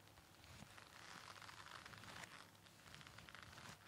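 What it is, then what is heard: Nonwoven fabric face mask. Fingertips and nails tap and scratch a white folded KN95 respirator of stiff nonwoven fabric worn on the face. The result is a soft, steady, close-up rustling and crinkling with a bright, papery scratch and faint taps scattered throughout.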